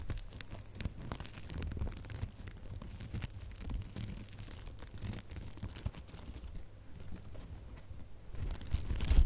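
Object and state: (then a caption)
Glitter ribbon bow. A small decorative ribbon bow with gold metallic and red glitter loops is scratched and plucked with nails. The result is a dense run of crinkly, tearing-like scratches with short, sharp clicks over a low rumble. The sound grows louder in the final second.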